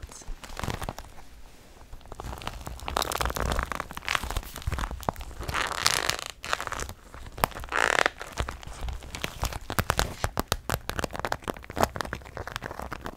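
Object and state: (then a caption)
Vinyl handbag squeezed and scratched. A medium, hollow, clear pink vinyl rainbow handbag, a translucent pink PVC Barbie bag, is held close and squeezed and scratched with long nails. A continuous run of dry, crinkly scratches and crackles is heard, with short bright taps and a faint low rumble underneath. The sound swells into louder squeezing bursts around the middle before returning to quick, dense scratching.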